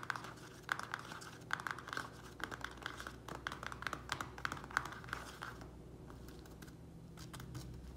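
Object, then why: Small plastic plant pot with soil. Fingernails tap and scratch the thin walls of a small square black plastic nursery pot filled with soil, making quick, crisp clicks with a crinkly, plasticky edge over a low hum. The taps come in rapid bursts through the first five and a half seconds, then give way to quieter scratching toward the end.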